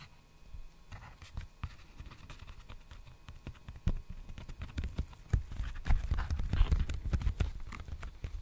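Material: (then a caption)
Plastic. Fingertips tap and scratch an empty, large black poly bubble mailer envelope held upright near the microphone. The sound is a quiet, irregular run of soft, dull, low taps with faint scratchy rustling. The tapping grows denser and louder in the second half.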